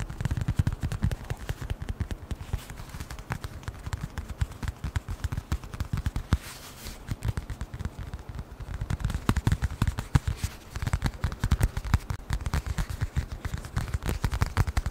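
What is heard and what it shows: Fingertips and nails tap rapidly on a small, closed brown leather-covered notebook or wallet held close to the microphone. The result is a dense, continuous stream of short, dull, bassy knocks with almost no ring, easing slightly around the middle before picking back up.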